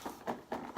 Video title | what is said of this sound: IKEA SHARK ATTACK, BLACK PANTHER & BOOTLEG TOYS | there's a proper toy inside